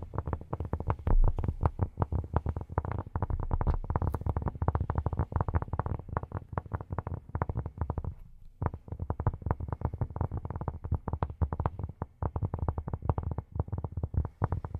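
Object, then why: Cork surface. Fingertips fitted with silicone rubber pads tap rapidly and continuously on cork. The taps are soft, dull and low-pitched, with most of their weight in a deep thump around 78 Hz and almost no brightness. They stay in a steady stream, with a brief pause just past the eight-second mark.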